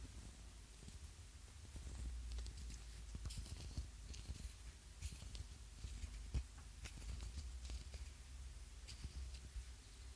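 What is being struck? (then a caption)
Small ribbed plastic egg-shaped container. A small, hollow, ribbed yellow plastic egg-shaped lip balm container is held in the hand and tapped and scratched with fingernails. Quiet, irregular clicks and brief bright scratches sit over a steady low rumble, with one sharper tap standing out partway through.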